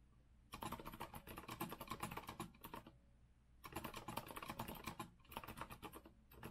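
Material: Plastic, metal.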